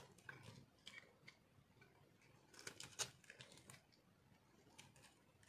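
A metal cutter slices and scrapes brittle pieces off the top of a solid, dry, marbled multicolor soap bar held in the hand. The result is a quiet series of crisp, bright crunches and scratchy scrapes, with one sharper crack near the middle and each sound ending almost instantly.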